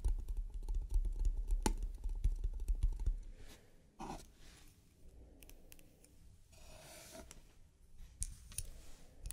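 Long nails tap and click on the lid of a small, closed, hollow octagonal striped painted wooden trinket box, near the button and along the top edge. A fast, uneven patter of short, dry clicks with a dull, low hollow thump fills the first three seconds. It then gives way to quieter, scattered clicks and soft scratchy touches.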